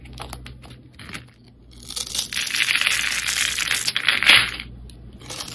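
A solid oval red soap bar with white stripes, held in the hand, is scored and scraped with a metal blade so crumbly chips come off. A few light ticks and scratches lead into a longer, dense, bright scraping rasp that swells and then fades back to soft scratches.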